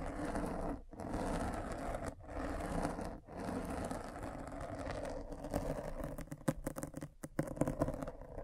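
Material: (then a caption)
Foam. A metal-spiked derma roller is rolled over a black foam windscreen on a microphone, scratching the foam. A dense, low, scratchy rolling noise runs steadily with three brief pauses in the first few seconds, then breaks into shorter, choppier strokes toward the end.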